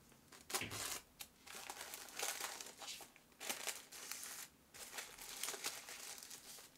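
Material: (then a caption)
Glassine paper. Thin, translucent printed glassine paper is folded around a flat notebook on a cutting mat, then pressed and smoothed with fingertips and sealed with a round sticker. The crisp, bright crinkling and rustling comes in bursts of handling separated by short quiet gaps, with almost no low end.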